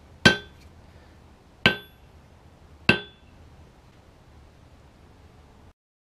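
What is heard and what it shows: A Peter Wright wrought iron anvil, chained to a maple stump with both turnbuckles tightened, is struck three times with a 3 lb sledge to compare against the earlier loose-chain strikes. Each blow gives a sharp, bright metallic clang with a high ring around 1.5 kHz that fades quickly, separated by quiet pauses.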